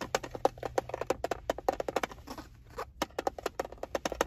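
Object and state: Plastic screwdriver bit case.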